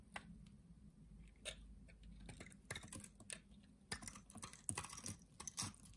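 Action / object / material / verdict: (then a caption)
scrape / bar of soap / soap / none. A utility knife blade cuts and scrapes the surface of a solid rectangular green soap bar held in hand, slicing it into small cubes and shavings. Quiet, crisp clicks and scratchy scraping strokes come in irregular bursts, bright and short, over a faint steady low hum.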